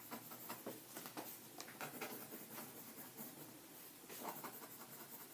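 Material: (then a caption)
Paper. A green mechanical pencil held in the fingers scratches across a stack of white lined paper sheets in an open ring binder on a table while writing. It makes a quiet, dry, scratchy rustle with brief bright stroke sounds and almost no low end.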